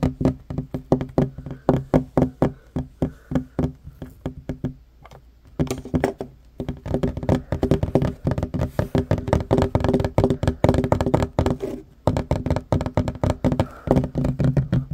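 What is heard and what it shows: Short fingernails and fingertips of both hands tap fast on a flat, solid wooden tabletop with worn grain. Dull, low knocks come in quick, dense bursts, each dying out almost at once, with brief pauses near five and twelve seconds.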